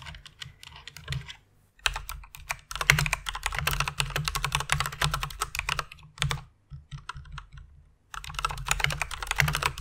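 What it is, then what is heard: Plastic mechanical keyboard. Rapid typing with fingertips and long nails on a full-size white mechanical keyboard with plastic keycaps and RGB lighting, resting on a pink fur pad. Fast bursts of bright, clicky keystrokes over a low hum come in runs separated by short pauses, each click dying away almost at once.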